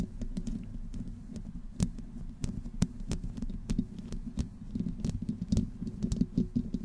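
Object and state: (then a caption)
Metal mesh microphone grille scratched. Long nails of both hands scratch slowly over the hollow metal mesh head of a black condenser microphone. The result is a dense, low, rumbling scrape with a steady hum near 190 Hz, broken by many sharp, bright clicks and ticks as the nails catch on the grille.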